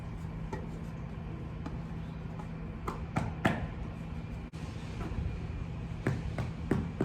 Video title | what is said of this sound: Harvesting Beans and Shipping To Town | pretty much bang on it until it sounds hollow